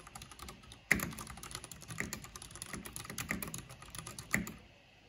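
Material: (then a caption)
Plastic. Long painted fingernails and fingertips type fast on a full-size black plastic mechanical computer keyboard with purple backlight, pressing and tapping the keys. A rapid stream of bright, short plastic clicks runs throughout, with a few louder, heavier key strikes standing out.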